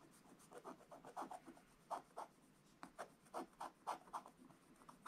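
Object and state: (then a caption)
Scratch-art coated paper page. A wooden stylus scratches the presents area of a black-coated scratch-art book page, making about sixteen short, dry, raspy strokes in an uneven rhythm. The quiet scratches centre around 1 kHz with a light bright hiss and stop almost instantly after each stroke.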